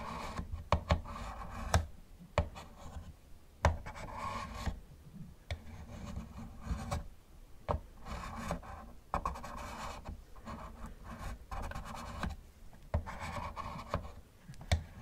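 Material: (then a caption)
Plastic. Gloved fingertips scratch the rear and roof of a hollow yellow plastic Camaro model car. Soft, dull rubbing and rasping bursts come and go, broken by sharp little taps. The sound is mostly low and muffled, with a faint brighter scratchy edge.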